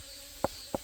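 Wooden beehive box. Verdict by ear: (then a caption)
Full. Two short, resonant taps on the lower part of a wooden beehive box give a dull "dung" tone centered near 550 Hz over a faint bright background hiss. The full, heavy sound shows the box is packed with honey and promises a good harvest.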